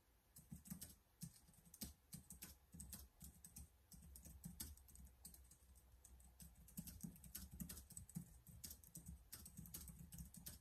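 Rapid fingertip typing on the keys of a black plastic laptop keyboard. The keystrokes are dense, irregular, quiet clicks with soft low thumps and bright, crisp tops, each dying away almost instantly over a steady low hum.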